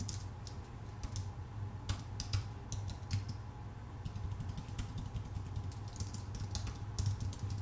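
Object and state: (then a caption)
Aluminum and plastic computer keyboard being typed on. Both hands type with their fingertips on a full-size white Apple Magic Keyboard, which has plastic keycaps on a thin aluminum body. Quick, light, bright key clicks patter unevenly throughout, with a few louder taps. A steady low hum sits underneath.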